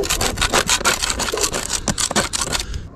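A metal paint scraper is dragged in quick repeated strokes along the side of a solid, rough, sandy cement render wall topping a roof parapet, patched with old white paint, while one hand rests flat on the wall. It produces a steady, bright rubbing and scraping with a gritty, hissy texture and little low end, each stroke stopping dry with no ring.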